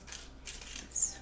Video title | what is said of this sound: Lana's Peking Chicken Recipe | if you guys can hear how crispy that is it's really crispy